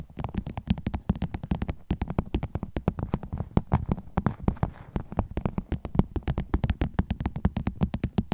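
A vinyl bag is tapped with the nails as an ASMR trigger, producing a fast, continuous stream of short, dry taps. Each tap has a dull, low body with a brief bright click and dies away almost instantly.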